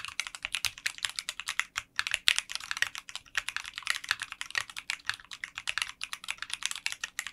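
Fingertips type continuously on a 60% mechanical keyboard with translucent pink polycarbonate keycaps in a clear case. It makes a rapid stream of short, bright, clacky key strikes with almost no low end, broken only by a brief pause.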